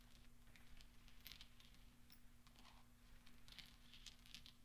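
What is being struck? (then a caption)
Small steel balls rolled together on a soft cloth. Hands sweep and roll small solid steel pachinko balls together on velvet, making a quiet, soft patter with scattered bright metallic clicks and clinks. A steady low hum runs underneath throughout.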